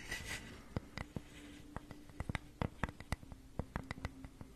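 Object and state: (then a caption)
Wooden flower cutout. Long nails tap and scratch the grooved surface of a flat, solid, hand-sized flower-shaped cutout of unfinished wood held in both hands near a fluffy microphone. A soft scratchy rustle opens the clip, followed by a quick run of about seventeen short, dry clicks with no ring, over a faint low hum.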